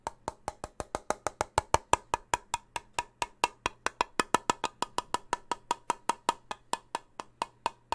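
A closed, full steel soup can with a red and white label is held near the microphone and tapped with fingertips on its metal rim and lid. About 42 quick, evenly spaced taps give dry, woody clicks with a short ring around 960 Hz and a bright edge. Each tap dies almost instantly over a faint low hum.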